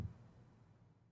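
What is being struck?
Nothing is struck.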